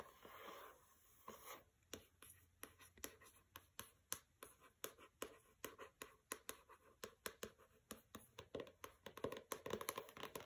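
A steady run of short, papery scratch strokes, dry and bright, with no ring at all. Nails dragging over a paper-covered hardcover book give this soft rasp. The hard board under the paper keeps each stroke crisp and brief, in a quiet small room.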